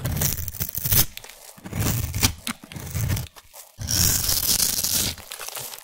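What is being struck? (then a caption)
Bar of soap scraped with a knife blade. A utility knife blade scrapes the surface of a solid, partly shaved orange bar of soap held in one hand, shaving it into dry, crumbly flakes. Dense, crunchy tearing scrapes with a bright, hissy edge come in uneven bursts, broken by a brief quiet pause before a longer, sustained scrape.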